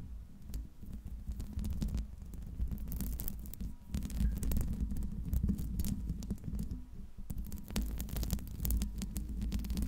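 Long red acrylic nails scratch and tap, with both hands, on the hollow silver metal mesh grille of a large Blue Yeti USB microphone. A dense stream of soft, boomy thumps and low throbbing rides over a steady low hum, with quick bright scratchy crackles flickering through.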